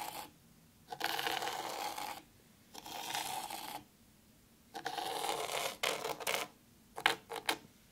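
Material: Sand.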